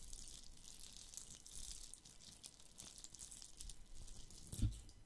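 A palm-sized, hollow plastic Christmas bauble coated in red glitter with a gold cap is held in one hand and scratched and tapped with fingertips and nails. The result is a soft, continuous crackly scratching with bright high hiss and low rumble. Near the end comes one louder, dull low thump.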